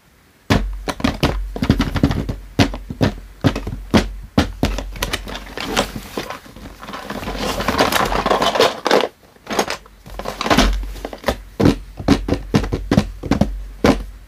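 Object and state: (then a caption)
Cardboard toy box. Fingertips and short nails tap and handle a closed, medium-sized pink printed cardboard box of Hello Kitty playset packaging holding its toy contents, with both hands resting on its top and sides. Quick, dull, hollow taps with a low thump come in rapid bursts, broken by a stretch of continuous rubbing and crinkling of the cardboard in the middle of the clip.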